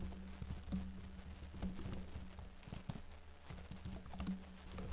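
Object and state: Plastic laptop keyboard being typed on.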